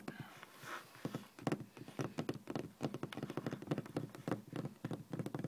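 Fingertips and medium-length nails rapidly tap a flat, solid, speckled beige laminate office desk top. The result is a quick, uneven patter of short, dull, low-pitched knocks with almost no ring, and a soft airy hiss comes before the tapping gets going.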